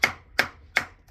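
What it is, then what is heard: Hollow, loose cement repair patch. A previously repaired patch on a leaking cement terrace is tapped four times, evenly spaced, with the last cut off at the end. Each tap gives a sharp, bright, hollow knock centered around 2.2 kHz that fades quickly. The hollow sound shows the patch has come loose and moves completely.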